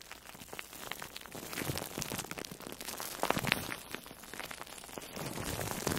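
An orange-slice-shaped foam sponge, soft and porous and wrapped in plastic food wrap, is squeezed and rubbed with long nails and fingertips. It makes a steady stream of quiet, bright crinkling and crackling, with a few louder crunchy squeezes partway through.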